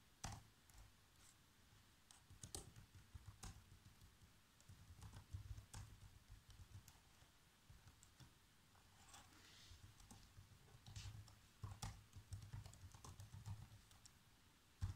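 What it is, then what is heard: Plastic laptop keyboard being typed on. Bare fingertips with short nails type continuously on a black plastic laptop keyboard. The key taps come as quiet, irregular bursts of short clicks over a soft low thump, with a few brighter, louder strikes standing out.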